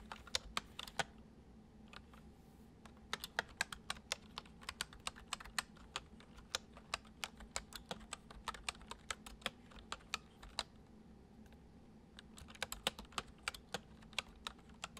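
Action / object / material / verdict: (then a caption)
tap / plastic computer keyboard / plastic / none. Fingertips gently tap the keys of a full-size white plastic computer keyboard resting on a wooden desk. The result is a steady run of short, bright, crisp clicks with brief pauses near the two- and twelve-second marks, over a faint low hum.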